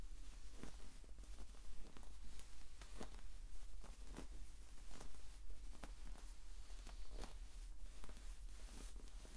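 A green, sand-filled soft rubber or vinyl exercise ball is squeezed and dented by the fingers and rubbed with the fingertips. It gives quiet, gritty, bright crackling and soft pattering ticks over a steady low hum.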